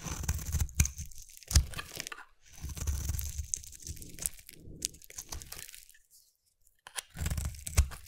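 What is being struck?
Soap bar.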